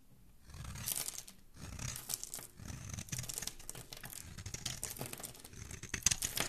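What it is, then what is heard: Bar of soap being carved with a blade. A dark metal blade scrapes and carves across a solid, palm-sized, rectangular teal bar of soap embossed "DISCOVER" and held in the hand, shaving off curls and flakes. Repeated crisp, dry scraping and crackling strokes are heard, bright and papery with a soft low thud under some cuts, rising and falling in bursts after a brief quiet start.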